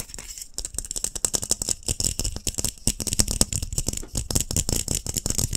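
A glass light bulb is tapped in a fast, continuous run of dry, clicky taps with a bright, glassy sheen. Each tap dies away almost instantly, so the sound comes across as a dense, rattling patter.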